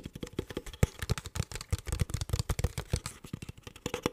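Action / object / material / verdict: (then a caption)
tap / plastic water bottle / plastic / none. An empty, hollow clear plastic water bottle with a blue cap is tapped and squeezed with the fingertips, producing a quick series of about 28 short, dull taps. The taps are low and thumpy with brief crinkly clicks on top, and each dies away almost at once.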